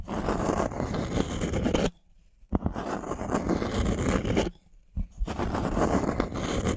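Thumbnails scratch the surface of a thin, solid, light-wood plank held upright, making a dense, rough scraping with a low rumble underneath. The scratching comes in three long stretches separated by two brief near-silent pauses, and each pause ends with a sharp tap.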